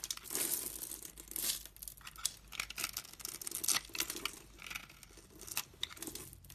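A metal utility blade scrapes and cuts into the grid-scored surface of a hand-sized solid purple bar of soap held in hands with long red nails. Tiny soap cubes crumble off with bright, dry crackling and crisp scraping bursts that come and go in a steady rhythm.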